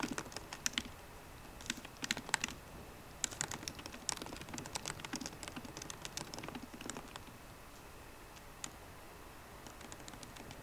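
Two hands type continuously on a MacBook Pro keyboard with fingertips and long painted nails, tapping plastic keycaps on the hollow aluminium laptop body. Quick, dry, bright clicks come in uneven bursts with short pauses, each tap dying almost instantly. The typing thins to a few scattered taps toward the end.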